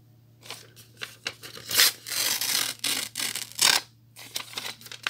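A thin white notebook paper sheet with a perforated, spiral-torn edge is held in both hands while fingertips with short nails tear it into strips. Bright, crisp ripping bursts of varying length alternate with softer crackles and rustles, the longest tears sounding loudest and fullest.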